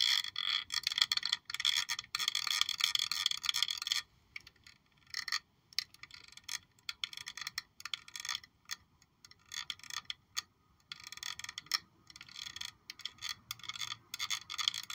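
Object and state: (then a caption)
Glass perfume bottle. Long nails tap and scratch a black glossy glass perfume bottle shaped like a high-heel shoe with a gold heel, held in one hand. Quick, bright clicks and scrapes with a faint tonal edge near 3.4 kHz come in a dense run for the first four seconds, then in short, irregular bursts separated by brief pauses. Each tap dies away almost at once, with no low end.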